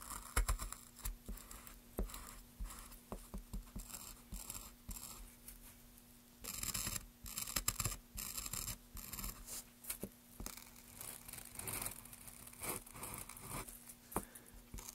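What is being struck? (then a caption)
Basswood block. A small carving gouge makes short, scratchy strokes in the carved groove of a solid pale basswood plank held in gloved hands. Quick dry scrapes and soft ticks repeat throughout, with denser bursts of bright, hissy scraping partway through. A faint steady low hum sits underneath.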